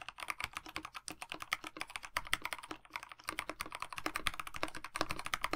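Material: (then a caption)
Plastic. Both hands' fingertips type continuously on a KBD67 Lite 65% mechanical keyboard with a black plastic case, white blank PBT keycaps with one orange key, and lubed linear Dinokeys Mints switches, resting on a desk mat. The result is a rapid, steady stream of short, dry key taps centered around 1.2 kHz with some brightness, and each tap dies away almost instantly.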